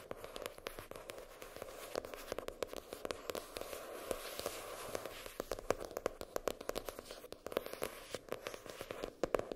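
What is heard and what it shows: Long nails tap and scratch the hard cardboard cover of a floral-printed hardcover spiral notebook lying flat, near the spiral. Quick, crisp taps sound over a steady, papery scratching with a mid-range body and short, dry clicks. No note rings on after each tap.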